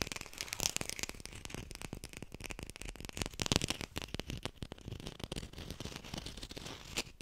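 A textured artificial plastic lime is fast-tapped close to a hi-fi microphone. The result is a dense stream of quick, dry clicks with a bright, crackly edge and no ring, forming an uneven rattling patter with a few louder bursts.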